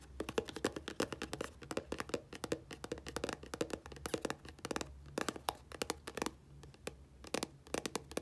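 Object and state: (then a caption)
Plastic squeeze tube. A 60 ml dark plastic squeeze tube of body wash with a blue cap, held upright, is scratched and tapped along its body with long nails. The result is a rapid, dense run of short, dry clicks and scratches with bright, crisp edges and almost no ring, over a faint low hum.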